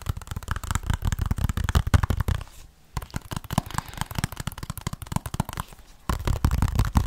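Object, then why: Small plastic game case with sleeve. Fingernails rapidly tap and scratch the front and edges of a small, hollow white plastic 3DS game case with a paper insert under a plastic sleeve. The result is a dense run of short, dry clicks and scrapes over a low, hollow thump. The sound pauses briefly twice, and the fuller, deeper tapping returns at the end.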